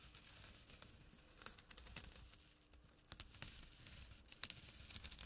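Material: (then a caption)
Burlap. Fingertips scratch the weave of a small, flat burlap drawstring pouch. The result is a dry, bright, rasping scratch with quick, crackly bursts. It is mostly high in pitch with little low end, and each stroke stops short without ringing.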